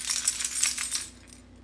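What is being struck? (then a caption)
Bunch of metal car keys. A set of metal car keys is shaken, producing a bright, high-pitched metallic jingle of rapid clinks that fades into quieter, scattered clinks toward the end.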